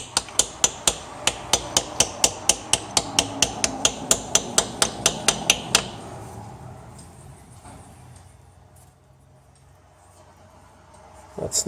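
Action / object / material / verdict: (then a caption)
tap / crankshaft rear main seal tapped in with a driver / rubber / seated. A new rear crankshaft main seal is tapped evenly around its edge into the engine housing with a driver and hammer, giving a quick run of about two dozen short, bright metallic taps over the first six seconds. The taps then stop, leaving quieter background noise and a brief louder sound at the very end. The change in the tap note shows the seal is flush with the crankshaft housing and fully seated, which is normal.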